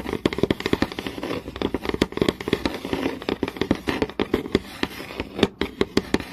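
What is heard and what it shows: Long nails tap quickly and scratch across a flat, solid wooden board with visible grain. Sharp, dry clicks with almost no ring come in rapid bursts over a faint scratchy hiss, with a low woody tone in the knocks.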